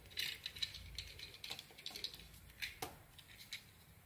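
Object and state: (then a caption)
Bar of soap being carved. A solid blue soap bar with a brown decorative coating, held in one hand, is carved with a small utility blade that shaves and scrapes off curls. Quiet, dry scraping strokes come in a quick irregular series of short, crisp, bright ticks with almost no low end. Each scrape dies away instantly.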